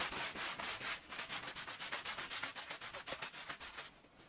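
A small oval red patterned fringed woven fabric rug lies wet and soapy on the floor and is scrubbed with a green plastic-bristle push broom. About four rough, hissing brush strokes per second repeat in bright, noise-rich sweeps with almost no low end. The strokes fade slightly toward the end.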